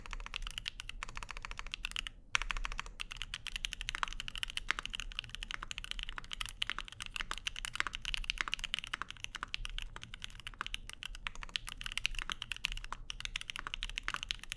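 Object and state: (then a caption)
Mechanical keyboard with aluminium plate and plastic keycaps. A Keycult No. 2/65, a 65% mechanical keyboard with lavender switches, plastic keycaps and an aluminum plate, is typed on rapidly with the fingertips of both hands. The result is a dense, continuous stream of short, bright clacks with a brief pause just after two seconds, over a steady low hum.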